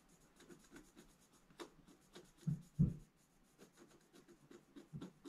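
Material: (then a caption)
Coated paper. A pointed wooden stylus is drawn across a black-coated scratch-art paper page in a bound book in repeated scratching strokes. Soft, dry scratches come at an uneven, fairly quick pace, each with a faint bright, papery edge, and two slightly louder, duller strokes sound near the middle.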